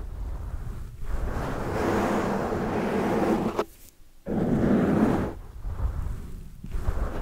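Hands cup a large black foam windscreen over a microphone while long dark nails scratch and rub the foam surface. The result is a dense, close, muffled rustling and scraping, mostly low and mid in tone, broken by short pauses, the longest a near-silent gap just before the middle of the clip.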